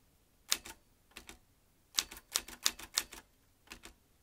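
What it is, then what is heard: Manual typewriter typing. Fingertips tap the round keys of a vintage metal manual typewriter, producing sharp, bright clacks in irregular bursts, often doubled, with quiet pauses between. Each strike is crisp and dies away almost instantly, with almost no low-end weight.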